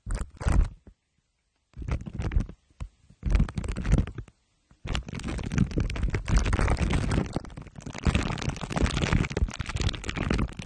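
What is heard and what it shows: Glue stick tips are pressed against the sides of a microphone head wrapped in crumpled aluminium foil under clear plastic wrap, and rubbed. Short crinkling, crackling bursts with brief silences between them give way, at about five seconds, to continuous, dense, low-heavy scraping and crunching that runs to the end.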